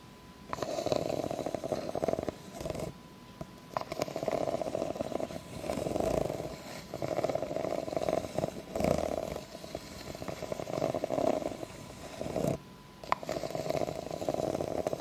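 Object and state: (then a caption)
Clear ribbed plastic cup being scratched. Long nails scratch up and down the ridges of an empty, clear, ribbed plastic cup. They make raspy, buzzing strokes that come in several long passes with brief pauses between them. The sound is strongest in the midrange with little deep low end.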